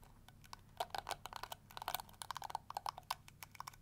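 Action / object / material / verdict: scrape / plastic detangling brush / plastic / none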